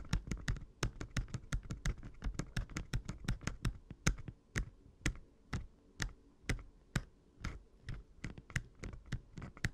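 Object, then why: Plastic handheld game console. Fingertips and nails tap and click around the screen bezel and hinge of an open red Game Boy Advance SP, a small hollow plastic handheld console. The result is a run of short, dry clicking taps with a hollow low thump and a bright snap on top. The taps come in quick, uneven bursts at first, then space out.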